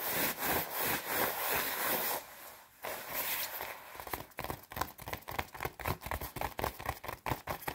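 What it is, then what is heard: Nylon puffer jacket being scratched. Long red nails scratch fast across the padded chest panel of a white quilted nylon down jacket, making bright, papery rustling scrapes. A dense stretch of continuous scratching drops to a brief quieter lull, then breaks into quick, separate strokes in a rapid, uneven rhythm.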